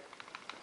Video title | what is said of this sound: Springfield Champion Loaded - Good 1911 Option | it's also not so tight that it's going to seize up if a tiny grain of sand gets in there